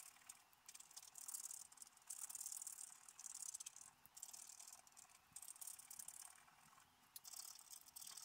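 A wooden stylus scratches across a thin, solid, black-coated scratch-art paper card lying flat, scraping the coating away to reveal colour underneath. The sound is a quiet, dry, high-pitched rasping that comes in repeated short bursts of scratching with brief pauses between strokes.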